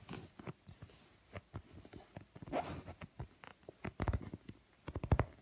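Fingertips and medium-length nails tap and scratch the textured surface of a large, padded black leather sofa seat cushion, soft and stuffed rather than hollow. The taps land as irregular, dull, low thuds that die away almost at once, mixed with soft scratchy rustling. The sound stays muffled and bassy, with little bright content.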